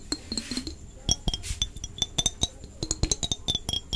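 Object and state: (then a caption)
Glass jar with plastic lid. A small, mostly empty clear glass jar with an orange-red plastic screw lid is held close and tapped and scratched with long painted fingernails. Quick, bright clinks ring out in a busy irregular run, each dying away almost at once, with soft scratching between the taps.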